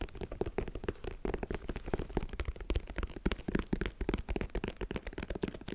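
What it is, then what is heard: Sneaker rubber sole. Fingertips and nails scratch and tap across the tread of the cream, solid textured rubber outsole of a single empty high-top sneaker in Air Jordan style, held in both hands. The result is a dense, continuous run of quick, dull taps and scratchy rustles, weighted toward the low end and dying away almost instantly.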